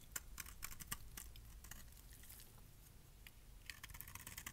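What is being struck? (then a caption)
Bar of soap shaved with a metal blade. A metal blade shaves small curls off the edge of a solid light pink bar of dry soap held in hand. Quiet, crisp scraping ticks and short bright clicks come in irregular bursts over a low, steady rumble, each one dying away almost instantly.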